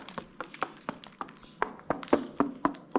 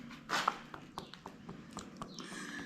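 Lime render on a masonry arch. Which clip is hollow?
The first.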